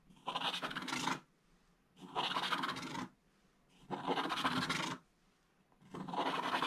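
A wooden stylus scrapes vertical strips near the bottom edge of a flat scratch-art book page, where a black coating covers gold foil. Four separate bursts of dry, bright, raspy scratching each last about a second, with short quiet pauses between them.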